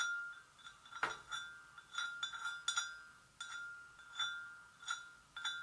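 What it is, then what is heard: Porcelain gravy boat, empty. Long nails gently tap the sides of a hollow, empty white porcelain gravy boat in a slow, uneven series of light taps. Each tap sounds a clear, chime-like ring around 1.4 kHz with bright overtones that fade quickly, with one louder tap near the start.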